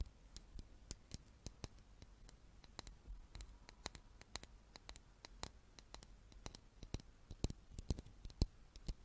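A small, solid wooden chess piece held in the hands is tapped with long nails and fingertips, producing quiet, irregular, sharp clicks and taps. Each tap is dry and dies away almost instantly, over a soft, low background hum.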